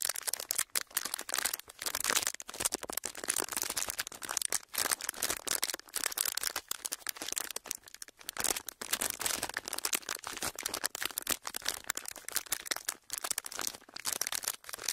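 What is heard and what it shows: A flat, thin, clear ridged plastic packaging sheet is held horizontally and pressed and crinkled with the fingertips. The result is a steady stream of dense, bright crackles and crinkles with almost no low end, broken by brief pauses.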